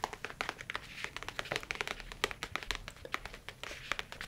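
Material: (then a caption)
Leather. A rigid, flat brown leather tablet folio case, held in front of the body, is tapped with the fingernails and then the fingertips. About 33 quick, dry, bright taps and clicks come in an uneven rhythm, each dying away almost at once, over a soft low background.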